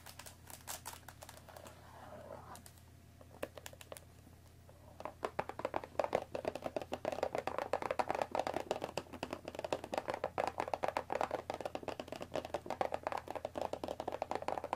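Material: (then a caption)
Cardboard. Long nails tap rapidly along the top edge of a hollow cardboard tea box wrapped in cellophane, resting on a wooden table. The dense, dry clicks have a crinkly plastic edge and a hollow mid-range knock. After a brief opening flurry there is a sparse, quieter stretch, then the tapping builds into a steady, rapid patter for the rest of the clip.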